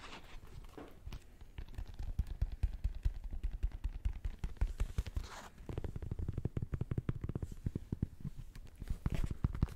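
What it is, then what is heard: Sneaker tapped and scratched by fingertips. A black and gold Nike Air Max 2090 sneaker with a metallic synthetic upper and rubber air sole is held empty and turned while fingertips tap and scratch the upper and sole. The result is a dense run of quick, dull, low thuds with soft scratchy rustles between them and almost no ring.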